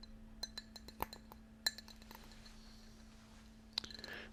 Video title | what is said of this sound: ASMR Binaural Ear to Ear Ceramic Tapping | it has lots of little dots around the outside